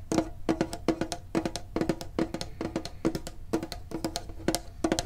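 A medium-sized hollow printed metal Pokemon card tin is held and tapped with the fingertips and short nails. Quick clusters of light taps each give a short, hollow metallic ping centered around 340 Hz with bright clicky edges, dying away almost at once.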